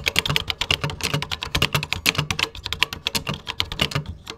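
Fingertips type quickly on a vintage 1980s computer keyboard with cream plastic keycaps. They make a steady stream of short, bright clicks with light thuds underneath. Each keystroke dies away almost at once.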